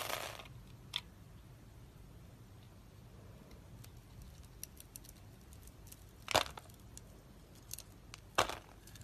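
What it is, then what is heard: Dry soap bar being carved. A utility knife blade scrapes and carves wavy ribbons off a solid green, embossed, palm-sized dry soap bar held in the hand. A soft, steady scraping hiss runs throughout, broken by occasional sharp, bright crunches and clicks, with the loudest snaps near the end.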